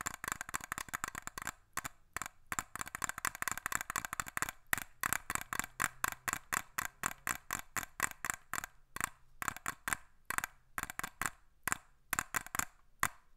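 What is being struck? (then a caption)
Small glass perfume bottle. A small glass perfume bottle with a black cap, held in the hands, is tapped with fingernails. Quick bursts of sharp, bright clicks with almost no ring sit around a glassy tone near 1.9 kHz, separated by brief pauses.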